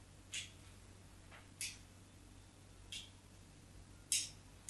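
A metal craft knife blade drags shallow grooves across the surface of a solid white soap bar held by hand, making five short, bright scratches at uneven intervals. Each scrape is a quick, high rasp that cuts off almost at once, over a faint low hum.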